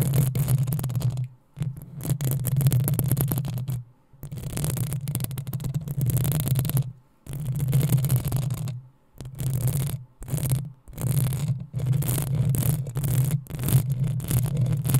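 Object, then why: Metal mesh microphone grille. Long acrylic nails on both hands scratch and rub the hollow metal mesh head of a black desktop USB microphone. The result is a heavy, low rumbling scrape with a bright, crackly grain on top. It comes in bursts of several seconds, separated by brief silent pauses.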